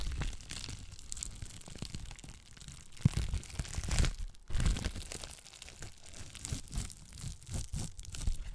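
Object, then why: Plastic bubble wrap sheet. Long black nails pinch and pop the bubbles of a clear plastic bubble wrap sheet and scratch across its surface. The result is a dense, continuous crinkling and scratching texture, with a few sharper pops standing out above it.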